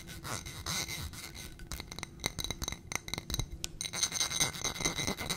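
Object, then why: Small footed glass coupe filled with wax. A small footed glass coupe candle holder filled with white wax is tapped with long nails on its glass sides and rim. Quick, irregular bright clicks and clinks ring high and die away almost instantly, over a faint scratchy rubbing.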